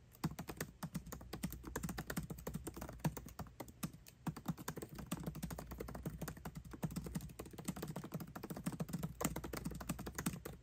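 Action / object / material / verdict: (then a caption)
tap / laptop keyboard with plastic keys in an aluminium body / plastic / none. Both hands type fast with their fingertips on a 13-inch aluminium MacBook Pro keyboard with backlit black plastic keycaps, tapping the keys continuously. The result is a dense, unbroken stream of short, soft clicks with a low, muted thock, set over a faint steady low hum.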